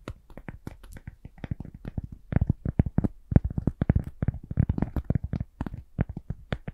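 A piece of cork is tapped gently in a steady, uneven run of soft, quick taps. Each tap is a dull, low thud that stops almost instantly, with a few lighter, brighter clicks mixed in. No voice is heard.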